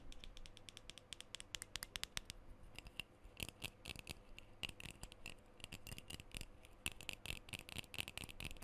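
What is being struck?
Metal aerosol spray can.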